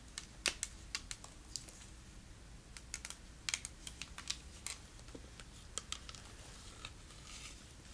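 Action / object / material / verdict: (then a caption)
tap / plastic whale figure / plastic / none. A plastic whale figure is tapped with fingernails, producing a quick series of light, sharp clicks that die away almost at once over quiet background hiss. The taps come in uneven bursts and carry little low-end weight.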